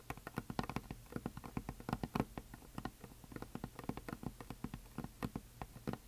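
Long nails tap rapidly across the surface and top edge of a flat, solid, heart-shaped painted wooden sign with glitter. The result is a quiet, steady patter of dry, dull clicks, each stopping almost at once with no ring. Irregular rhythms and uneven strength give some taps a slightly louder knock.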